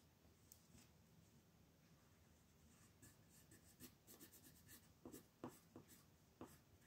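A red colored pencil scratches and rubs in coloring strokes across a thin white paper sheet printed with a mandala, lying flat on a dark table while the other hand holds the sheet still. Faint, soft rubbing in the first few seconds gives way to a quick, uneven run of louder, scratchy strokes with bright, papery hiss.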